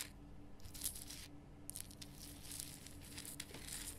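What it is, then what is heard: Rock salt lamp. Long nails scratch and tap across the top and sides of a large, lit, pink Himalayan rock salt lamp made of solid, rough salt. The result is quiet, dry, crackly scratching with bright, brushy bursts and light taps. A steady low hum runs underneath throughout.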